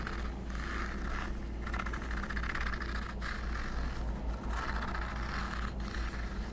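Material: Plastic.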